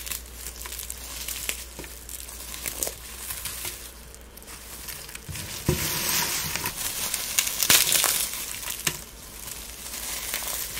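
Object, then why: Dried rose petals and flowers. Gloved hands pick up, squeeze and rub a pile of brittle dried rose petals and pink dried plumes, making dry, bright crinkling and crackling over a faint steady low hum. The rustling grows denser and louder in the middle, with sharper crunches, then eases back to softer crackles.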